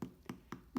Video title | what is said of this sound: 1-Bowl Whole Grain Boule Loaf - (Gluten free, vegan) | just how crispy it is